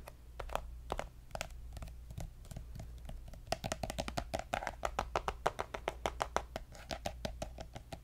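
Fingernails tap and scratch a pink soft plastic lotion squeeze tube with a gold cap. A rapid series of short, dry clicks, hollow and plasticky around 600 Hz, sounds over scratchy rustling and a steady low hum. The taps grow louder and denser in the second half.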